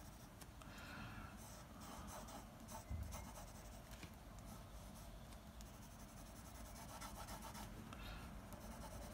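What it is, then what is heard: Pencil drawing on paper. A blue mechanical pencil held in the fingers scratches its graphite tip across a large flat sheet of white drawing paper holding a comic panel sketch, hatching and drawing lines. Soft, dry scratching and rubbing strokes come in short bursts over a low, steady background rumble.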